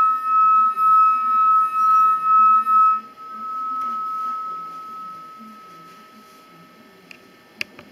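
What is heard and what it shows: A wet finger slides around the rim of a real crystal drinking glass, done to show how to recognize real crystal, drawing a sustained, piercing ringing tone of about 1.3 kHz that swells and dips five times with each pass. The tone then fades away, and a couple of faint bright clinks follow at the end.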